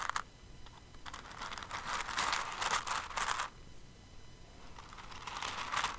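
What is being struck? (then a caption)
Plastic rhinestones in a container. Fingers with long nails dig into and stir an open clear container full of plastic rhinestones, making a bright, crisp, crinkling rattle of many small pieces shifting together. The rustling comes in uneven bursts, swelling loudest in the middle, easing off, then building again near the end over a quiet, steady background.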